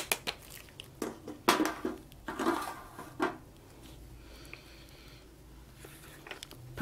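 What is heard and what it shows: A hollow, hand-sized plastic toy horse on wheels, with a green head, orange body and blue wheels, is held in gloved hands and tapped and knocked with a toy plastic hammer, then worked over its body and screws with a plastic toy tool as if being repaired. Sharp, short, hollow plastic knocks and clicks ring out in irregular bursts, followed by a quieter stretch of faint scraping and ticking.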